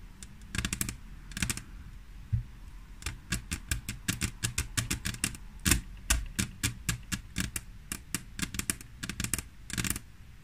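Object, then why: Glass tabletop tapped with fingernails. Long nails tap and scratch with both hands on a large, solid grey glass tabletop. Quick, sharp, bright clicks come in uneven bursts and flurries, each dying away almost instantly over a steady low hum.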